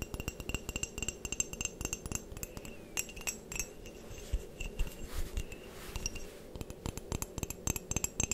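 Long painted nails tap and scratch the outer wall and rim of a medium white ceramic coffee mug with a handle and printed text, hollow and apparently empty. Quick, dense clicking taps with a bright, high clink and very short ring mix with soft scraping between them. The taps come in irregular bursts throughout.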